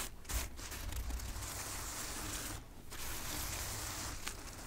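Long nails and fingertips of both hands tap and scratch the soft petal tops of a large tray of packed white preserved roses in a preserved white rose box. The result is a steady, dry, scratchy rustling hiss, bright and airy on top over a faint low rumble, with a brief quieter dip partway through before the scratching resumes.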